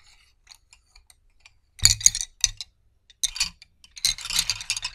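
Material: Wood.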